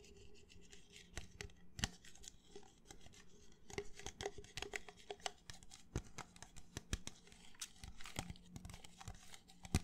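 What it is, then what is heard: Empty plastic cup scratched by fingernails. Fingernails scratch the outer wall of an empty, hollow red plastic party cup, producing a quiet, dry run of rapid scraping and clicking ticks. The short, sharp strokes carry bright crackle over a steady low hum, with each tick dying away almost instantly.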